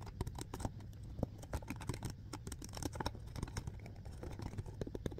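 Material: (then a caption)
Plastic. A clear, hollow plastic alkaline water bottle with a blue cap is held in both hands and quickly gripped and tapped by fingertips. The result is a steady, rapid patter of soft, dull, low-heavy taps and crinkly squeezes with almost no ring after each touch.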